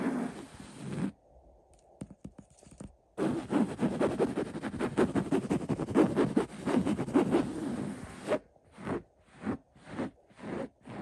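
Fingertips scratch and rub the coarse fabric of a cream linen-weave printed throw pillow that is stuffed. A dry, scratchy rustle comes in bursts, with a long dense stretch of rapid scratching in the middle and a few shorter separate strokes at the end, separated by near-silent pauses.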